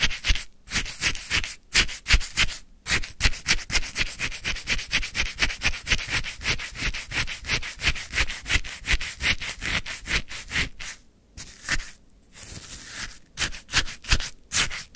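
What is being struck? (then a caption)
Frozen lemon sherbet in a paper cup, scraped with a wooden stick. A wooden stick stirs and scrapes frozen, icy lemon sherbet in a white paper cup. The result is a rapid, steady run of crunchy, gritty rubbing strokes with a bright, hissy texture and a soft low thump at each stroke. A few brief pauses break up the strokes.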